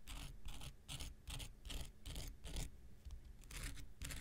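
A small, solid, rectangular pink foam nail buffer block with a gritty surface is scraped near its end with an X-Acto knife blade. Quick, repeated scratching strokes come in an uneven rhythm, each a short, bright, gritty rasp over a low, soft rumble.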